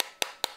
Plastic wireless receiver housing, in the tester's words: un plastique beaucoup plus creux beaucoup plus cheap